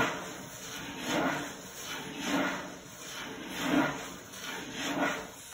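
Long blue acrylic nail tips tap rapidly, with both hands, on a flat wood-grain desk top that is solid and possibly laminate. The result is a soft, dense patter that swells into four brief brighter, louder bursts about once every 1.2 seconds, over a steady faint hiss.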